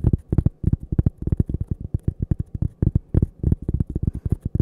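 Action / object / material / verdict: tap / thin cork coaster / cork / none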